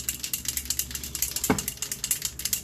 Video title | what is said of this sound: Lange Bubble Wand, Liquid "Full Face" Shadows and some Spray Foundation by Younique! | it sounds like spray paint